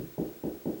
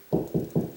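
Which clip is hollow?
The second.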